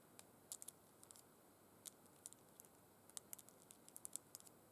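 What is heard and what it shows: Long red acrylic nails tap and scratch along burgundy faux suede gloves that lie flat and empty on a tablecloth, with the fingertips resting on the soft fabric. Quiet, bright, dry clicks and brief scratches come in irregular clusters over a steady soft hiss, each one dying away instantly.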